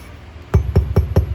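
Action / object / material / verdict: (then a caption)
tap / concrete fireplace slab / concrete / hollow. Four low, dull taps on an old concrete fireplace slab give a hollow, boomy thud, showing it is not resting on solid ground because there is a hole beneath it. Each tap dies away quickly over a faint steady background hum.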